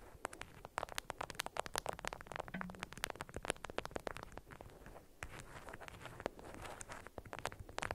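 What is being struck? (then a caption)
Beeswax-coated cotton wrap over a cube. Long acrylic nails tap and scratch the waxed fabric faces of an orange-print, beeswax-coated cotton wrap folded tightly around a cube-shaped hidden object about 6 cm across. The result is a dense, steady patter of sharp, dry clicks over a scratchy, crackling texture, with each tap cutting off at once without ringing.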